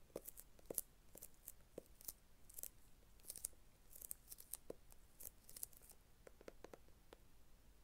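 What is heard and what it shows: A small, flat, hollow brown kraft cardboard box is held in both hands while long red nails tap and scratch across its surface. The result is a quiet, irregular series of short, dry clicks and taps with bright, crisp scratching textures, each sound ending almost instantly over a faint low background hum.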